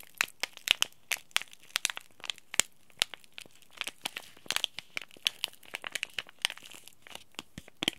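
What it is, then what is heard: Crinkled plastic-foil tea bag packet. A small sealed green laminated Oi Ocha plastic-foil tea bag packet is scratched with the nails, then crinkled between both hands. The result is a dense run of sharp, dry crackles and crinkles, bright and thin with almost no low end, each snapping off instantly with no ring.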